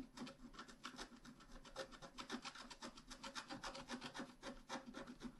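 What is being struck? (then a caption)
Black-coated scratch art paper card scraped with a wooden stylus. A wooden stylus scratches across a thin, flat, black-coated scratch art card in quick, uneven strokes, close to four per second. Each stroke is a dry, raspy rub with a bright, papery hiss and a faint low-mid body, stopping almost instantly.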